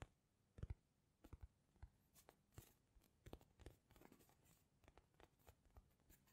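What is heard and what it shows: Fingernails scratch and tap the surface of a palm-sized soft polyurethane foam narwhal squishy toy. A quiet, uneven series of short, dull taps mixes with faint scratchy rustles, mostly low and muffled with only a thin bright edge on some strokes. Each tap dies away almost instantly on the soft foam.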